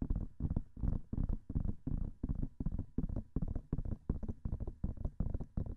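Nails and fingertips rapidly tap the hollow white silicone ears of a binaural microphone. The result is quick, irregular bursts of dull, muffled thumps that are heavy in the low end and die away almost instantly, with no bright edge.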